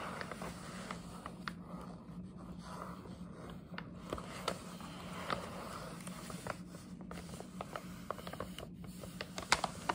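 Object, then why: Paper gift bag. Long nails tap and scratch the side of a hollow printed paper gift bag held in both hands. Soft papery scratching and crinkling run throughout, broken by sharp, dry taps that come and go irregularly, over a faint steady low hum.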